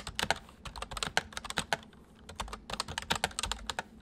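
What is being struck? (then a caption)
Plastic mechanical keyboard. Fingertips of both hands type on a white full-size MSI plastic mechanical keyboard with hollow keys. Two quick bursts of sharp, bright clicky keystrokes are separated by a brief pause, each tap dying away almost instantly over a faint low hum.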